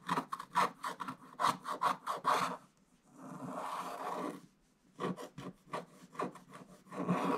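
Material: Coated paper.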